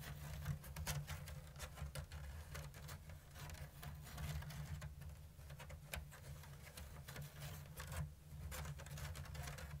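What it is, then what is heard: Woven bamboo basket. Long blue nails tap and scratch the thin bamboo strips of a round, hollow basket woven in an open diamond lattice. Quick, dry, bright clicks and scratchy rasps patter in a slow-to-medium rhythm over a steady low hum, all at a quiet level.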